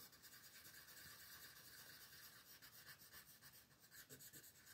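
A turquoise wooden colored pencil rubs along the outer ring of a mandala drawing on a thin white paper sheet lying flat on a table. The result is a quiet, steady, bright scratchy rasp with gently rising and falling strokes, mostly high in tone with little low end.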